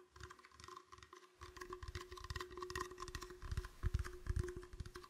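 An empty, clear, hollow plastic bottle is moved around close to a microphone while fingertips tap and squeeze it. It produces soft, irregular, dull tapping and crinkling with low, hollow thumps that grow a little louder toward the end, over a faint steady hum.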